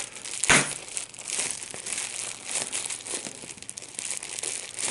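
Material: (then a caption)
Plastic. A small piece of clear plastic wrap with large, hollow, air-filled bubbles is squeezed and popped between the fingertips and thumbs of both hands. A sharp, loud pop comes early, followed by steady bright crinkling and crackling with smaller snaps throughout.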